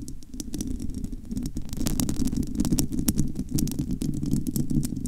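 Long almond-shaped nails of both hands scratch and rub the hollow metal mesh grille of an uncovered Blue Yeti USB microphone head. The result is a dense, continuous low rumbling scrape, mostly below 200 Hz, with a fast patter of crisp, dry clicks over it that grows a little louder after the first second and a half.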